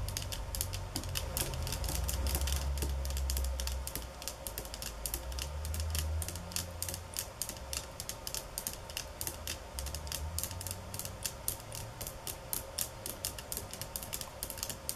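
Long nails tap and scratch a rolled bamboo-slat placemat lying on a countertop, producing rapid, sharp, bright clicks over a low rumble. The tapping is denser and louder in the first several seconds, then continues as quicker-decaying, softer, more spaced-out ticks.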